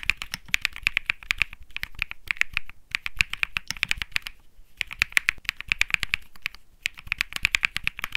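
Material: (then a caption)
Plastic. Both hands type rapidly with their fingertips on a 65% Think 6.5 mechanical keyboard with Bsun Lollipop switches and plastic keycaps. It makes fast, dense bursts of short, bright clacks that center around 2 kHz and die away almost instantly. The bursts are broken by brief pauses near 2.8, 4.5 and 6.7 seconds.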